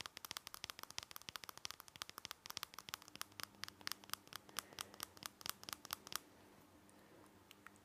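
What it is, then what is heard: Plastic nasal spray bottle. Long nails rapidly tap and scratch the green paper label and body of a small, hollow, white plastic nasal spray bottle. The result is a fast run of dry, bright clicks and scrapes with no ring. After about six seconds they give way to a faint hiss with a few isolated taps.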